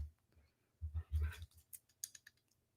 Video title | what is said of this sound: Pokémon Investing Will NEVER Be The Same..... - Market Chat (Q and A) | When you shake it, it rattles.